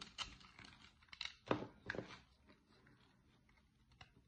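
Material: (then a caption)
Soap. A metal blade shaves and carves crumbly flakes from the cut face of a solid, dry green soap bar held in a hand with long nails, while an empty cardboard soap box beside it stays untouched. Short, dry scraping crunches with bright edges come in an irregular series, the loudest in the middle. Quieter flaking follows with a last small scrape near the end.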